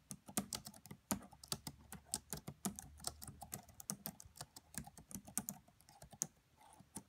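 Long nails and fingertips tap quickly across the black plastic keys of a red laptop keyboard, making about thirty short, dry clicks at an uneven, steady pace. Each tap has a bright, high tick over a soft low thump and stops almost instantly, with no ring between strokes.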